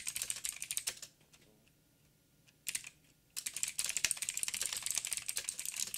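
Fingertips of both hands tap fast on a full-size backlit mechanical keyboard with blue switches, black plastic keycaps, a silver frame and a hollow housing. Bright, sharp clicks come in a quick burst, then a near-silent pause broken by a short flurry. Steady, dense typing then runs to the end.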